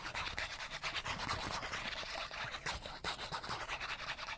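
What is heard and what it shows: A small, flat cardboard chipmunk card is held between the fingers while fingernails scratch fast across its edge and face. A quiet, dry, bright rasping comes in rapid, uneven strokes, with a faint low rumble beneath.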